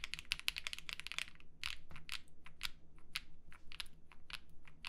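Two hands type steadily with their fingertips on a black and yellow Mammoth75 mechanical keyboard with a metal case, polycarbonate plate and ABS keycaps. The keystrokes make short, bright clacks with a quick, clipped decay, coming in a fast burst at first and then at a looser, uneven pace. A low hum runs faintly underneath.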